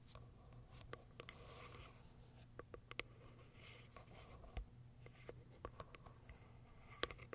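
Long acrylic nails scratch and tap the top of a small pale pink cardboard box. A soft, steady scratching hiss runs under a low hum, broken by sharp, dry taps that stop instantly. The sound stays quiet and close throughout.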